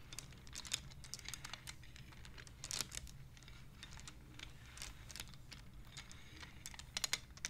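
Hands slide the wooden beads of a wooden abacus so they click against each other. Quick, dry, bright clicks come in irregular bursts, some sharper and louder than others, over a faint low steady hum.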